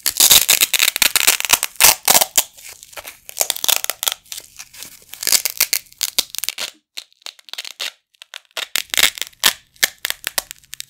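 A pair of small, flat black nylon hook-and-loop Velcro patches, held in both hands by the fingertips over a carpet, is ripped apart again and again at different speeds. Each pull gives a dry, bright crackling tear made almost entirely of high frequencies with no low end, ranging from long dense rasps to quick short bursts. Early on the rips come close together, then break into separate pulls with brief silent gaps.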